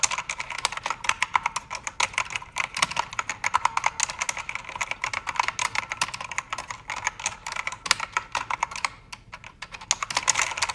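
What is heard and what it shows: A full-size black backlit mechanical keyboard with plastic keycaps is typed on by two hands using fingertips with red nails, while its backlight shifts color. The result is a dense run of sharp, short clicks and clacks with bright, high-leaning tone and almost no low end, briefly thinning to softer, sparser taps near the ninth second before picking back up.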